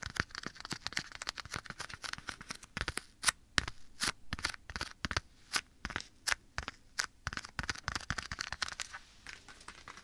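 Bare fingertips tap and scratch a black leather glove worn on one hand, held at the right side of the microphone. The result is a quick run of sharp, dry, bright taps, mixed with soft crinkly scratching of the leather between them.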